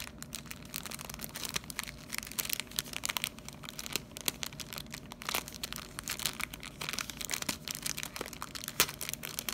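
Fingertips press, rub and crinkle a clear plastic cellophane bag with star-printed paper inside, lying flat on a wooden desk. A steady run of bright, dry crackles and crinkles fills the clip, punctuated by sharper snapping peaks over a faint low hum.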